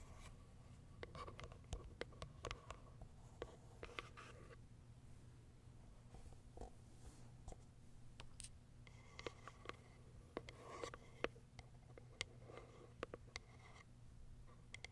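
Long white nails tap and scratch across the top and sides of a small pale pink Kiara Sky cardboard box. Quick, dry taps with almost no ring stand out over soft, rustling scratches and a steady low hum. The overall level stays quiet.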